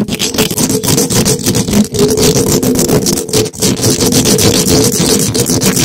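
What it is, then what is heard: Metal mesh microphone grille being scratched. Two gloved hands quickly scratch the hollow metal wire-mesh head of a large black condenser microphone, with no windscreen, using the sharp points of two thin wooden skewers. The result is a dense, continuous, loud scratching and rasping, broad and bright with a steady low-mid tonal buzz underneath. It barely dips around two and three and a half seconds.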